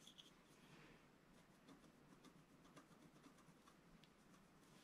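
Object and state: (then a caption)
Scratch-art paper being scratched. A wooden stylus lightly scratches fine lines into the black coating of a flat, roughly A4 scratch-art sheet lying on a table. The quiet, steady scratching comes as a run of soft, dry strokes with brief bright ticks. The strokes have a faint high edge around 3.3 kHz over a low hushed bed.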